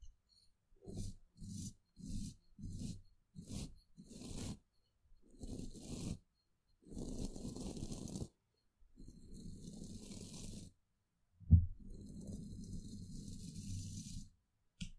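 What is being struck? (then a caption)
Woven steel microphone grille. The bristles of a flat paintbrush are stroked sideways along the mesh of a hollow woven steel microphone grille. A run of short, quick brushing strokes gives way to longer, continuous sweeps, all heard as a soft, muffled scratchy rumble with a faint high hiss. A brief louder knock cuts in partway through the longer strokes.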